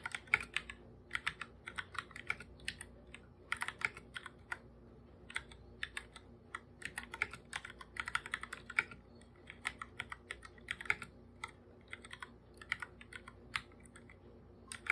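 Bare fingertips type fast on a full-size black plastic computer keyboard with plastic keycaps, its hollow body answering each stroke. The result is a rapid, uneven stream of short, bright clicks and taps that die away almost instantly, with small pauses between bursts.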